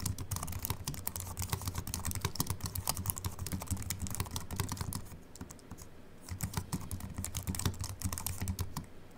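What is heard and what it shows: Fingertips of both hands type steadily on a compact Apple keyboard with a silver aluminium body and white plastic keys, resting on a wooden desk. Rapid, dense clicky keystrokes with a low thump and bright tick rattle on continuously, easing into a softer lull around the middle before picking back up.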